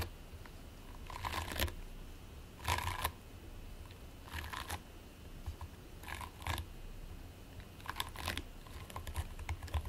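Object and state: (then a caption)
Play foam (polystyrene microbeads). Fingertips and nails repeatedly press and scratch into a flat patty of purple and white polystyrene-bead play foam resting on a white plate. Soft, bright crackling and sticky scratching bursts recur every second or two over a low, steady hum. The clip is quiet and close.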